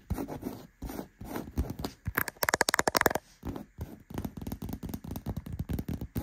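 Fingertips and nails scratch and rub the surface of a black, padded, soft and cushioned faux leather gaming chair seat with stitching. A steady, muffled scratching and rubbing rises into a quick run of sharper, brighter scratches in the middle, then settles back into softer rubbing.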